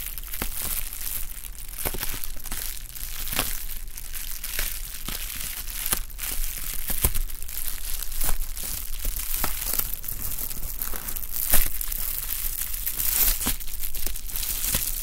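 A sheet of clear plastic bubble wrap, held in both hands, is crinkled and stretched with the fingers. It gives off a steady stream of crinkling and crunching with frequent sharp pops and crackles standing out across a bright hiss.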